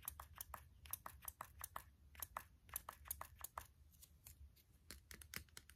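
Fingertips and short nails tap the white plastic nozzle and collar of a small hand-held spray bottle with a clear body and a white plastic pump-spray head, held close. A rapid, uneven series of dry, clicky plastic taps rises and falls in loudness, each bright and short with almost no ring, over a faint low hum.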